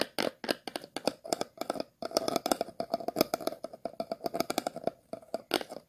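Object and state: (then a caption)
Plastic water bottle being scratched. A thin metal-tipped tool is scratched over the ridged bottom and side of an empty, hollow, clear plastic water bottle held in the hands. The result is a rapid series of short, dry, bright scratching strokes. Each stroke carries a hollow, mid-pitched plastic resonance near 620 Hz and stops almost instantly.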